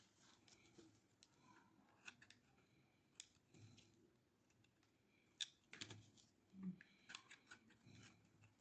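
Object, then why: Bar of soap scraped with a metal blade. A hand-sized, solid bar of dry pink soap, held in the hand, is scraped along its edge with a metal utility blade, shaving it. Quiet, irregular, dry scraping and crisp crackling shaves come in short bursts with sharp, bright clicks and a soft low rustle beneath, each sound dying away at once.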